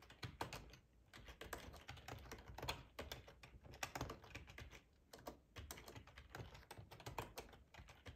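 Fingertips with short nails type on a hollow black plastic ergonomic split keyboard resting on a plaid tablecloth. Quick, quiet clacky keystrokes come in uneven bursts with brief pauses. Each tap dies away almost instantly, pairing a soft low thud with bright plastic clicks.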